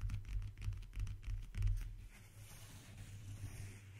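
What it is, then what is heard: Leather backgammon case. A closed, flat, brown leather-covered backgammon case, briefcase size and hollow, rests on a wooden table and is tapped and scratched with fingertips and short nails. Soft, quick, irregular taps with dry scratching fill the first two seconds, each tap a dull, low thump that dies almost at once. The sound then thins into a quieter, steady rustling scrape.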